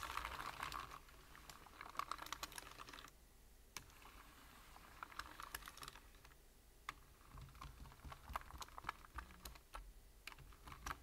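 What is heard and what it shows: Fingertips of both hands rapidly tap a full-size black plastic membrane keyboard with hollow keys. The result is a quick run of short, hollow, clicky keystrokes with bright edges, broken by brief pauses, over a faint low hum.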